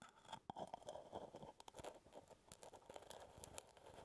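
Fingertips and nails scratch the brown plastic lid of a full plastic peanut butter jar close to the mic. The result is a quiet, dense run of crunchy scraping and scratching, centered in the midrange, with sharp, brief clicks scattered throughout.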